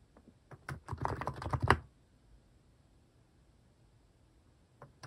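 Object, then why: Mechanical keyboard with plastic keycaps. Fingertips type on the plastic cat keycaps of a compact mechanical keyboard, which sits idle at first. A few scattered clicks lead into a quick, dense burst of clacky keystrokes lasting about a second, then quiet with faint background hiss and two more soft taps near the end.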